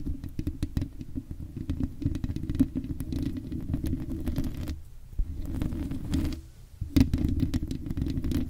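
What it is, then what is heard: Metal microphone mesh grille tapped and scratched. Long red acrylic nails on both hands scratch and tap the hollow black metal mesh grille of a large microphone. The result is a dense, rapid patter of crackly ticks and scrapes over a warm, low resonant rumble. The sound briefly drops out just before the five-second mark and dips again near six and a half seconds before the tapping resumes.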